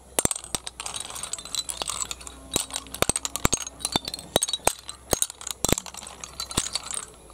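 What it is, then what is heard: Pile of empty snail shells. Both hands push and pile up a heap of small, hollow, empty snail shells on concrete, the shells clinking against each other. Many quick, bright clicks and dry rattles come in bursts over a faint, steady low hum, each click dying away almost instantly.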